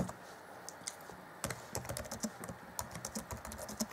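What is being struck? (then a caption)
Plastic laptop keyboard keys. Black plastic chiclet keys on the keyboard of a 2014 Acer Chromebook C20 laptop are tapped rapidly by the fingertips of both hands. Faint, soft taps give way after about a second and a half to a quick run of short, dry, clicky keystrokes with bright edges and a light low thump, each dying away almost instantly.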